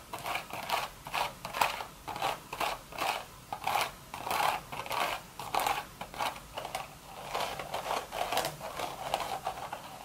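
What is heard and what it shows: Long, sharp red nails scratch the weave of a beige woven straw hat with a hollow crown. Rhythmic, dry scratching bursts rise and fade in quick succession, with a papery midrange rasp and a bright hiss above it, and almost no low end.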